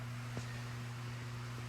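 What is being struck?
Nothing is struck.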